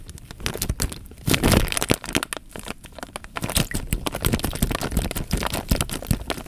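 Fingertips crinkle and squeeze the loose film of a clear plastic bag partly full of water. A steady stream of sharp, bright crackles and crinkles runs throughout over a low, soft body. A louder squeeze lands between about 1.3 and 1.9 seconds.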